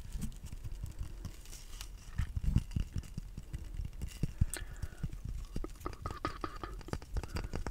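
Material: Wood.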